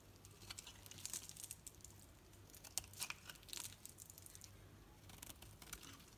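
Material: Soap.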